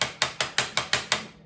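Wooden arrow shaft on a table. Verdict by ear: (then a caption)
Bent. A wooden arrow shaft lying on a flat table is tapped where light shows beneath it, giving seven sharp, bright rattling clicks that stop almost at once. The rattle comes from the shaft not sitting flat, which reveals a bend at that spot.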